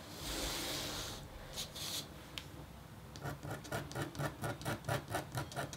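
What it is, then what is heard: Copper scratch art board being scratched. A metal-tipped, red-handled stylus scratches a thin, solid, flat scratch board of black-coated copper foil. A long, bright scraping stroke comes first, then a few short isolated scratches. It ends in a run of quick, evenly repeated rasping strokes with a low hum underneath.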